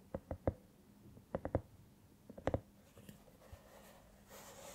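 Long painted nails tap and scratch the surface of a small, hollow, soft silicone cat-shaped LED night lamp, glowing and changing color while held in both hands. Short, muffled taps with a low, hollow thump come in quick groups of three. Quieter scratching follows, ending in a soft, brighter rubbing hiss.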